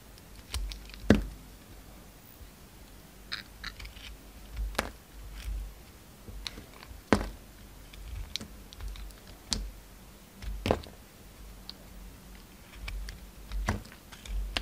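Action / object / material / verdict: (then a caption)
scrape / soap bar cut with a knife blade / soap / none. A utility knife blade carves and scrapes thick shavings from a solid lilac bar of soap held in the hand, the shavings falling onto a wooden table. Quiet, irregular crisp cuts and short scraping strokes sound as brief bright clicks with a soft low thud under them, with faint rasps in between.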